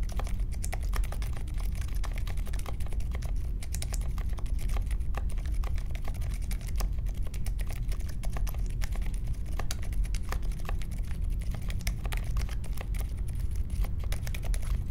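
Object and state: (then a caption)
Mechanical keyboard being typed on. Continuous fingertip typing on a compact Polaris mechanical keyboard with Silent Alpaca switches, a metal case and plastic keycaps, resting on a marble desk. The keystrokes come as a steady stream of soft, muted, low-pitched taps with very short decay and little bright click.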